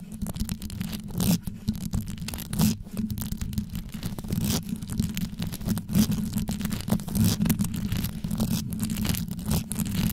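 Long yellow nails scratch rapidly down onto the top of a black condenser microphone with a rhinestone-covered grille. A dense, continuous low rumbling scrape fills the clip, with frequent brighter scratchy swipes rising out of it.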